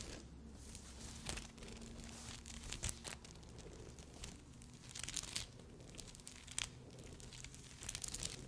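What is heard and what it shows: Long glossy nails scratch and tap across a padded bikini cup covered in small crystal rhinestones, close to the mic. The result is a quiet, continuous bright crinkly scratching with scattered sharp clicks and a low steady hum underneath.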